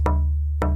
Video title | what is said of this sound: KIM WALKER 03 - Tap Tone Wood | And this piece is Sitka Spruce. And you can hear that it has a different kind of resonance, but this is also a really good piece of wood.